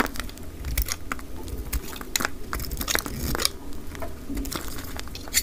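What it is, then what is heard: Dry cream soap bar being cut. A hand-sized, solid RUBIS cream soap bar, held in the hand, has chunks cut and scraped off it with a utility knife blade, sped up to double speed. A rapid run of dry, crisp crunching and scraping cuts, each very short with no ring, flashes bright across the high range over a low rumble.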